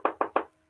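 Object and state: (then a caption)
Craft bunny figure is plastic, not foam. Three quick knocks on a cream-colored plastic craft bunny figure give short, hollow taps with a mid-range tone that die away almost at once. The knock test shows the figure is plastic, not foam.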